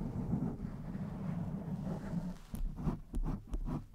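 Long white-tipped nails of both hands scratch and rub a blue foam windscreen sitting soft and hollow over the capsule of a black USB microphone. A steady, muffled, low rumbling rub fills the first half. It then breaks into about five sharper scratching strokes with brief bright edges.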